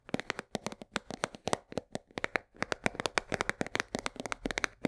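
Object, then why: Cardboard box of coarse salt. Long nails tap fast on the side of a full 1 kg cardboard box of coarse salt held at an angle. About thirty short, dry, clicky taps follow one another in an uneven rapid run, with bright tops and almost no ring or low end.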